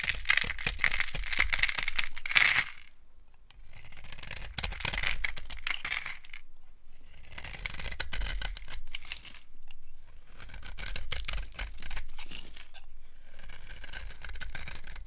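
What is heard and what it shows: A small yellow-handled blade scrapes and carves thin, crunchy curls off a solid rectangular bar of dry brown soap held in the palm. Bursts of crisp, gritty scraping with a bright hiss centered around 2 kHz come in several strokes separated by short quiet pauses.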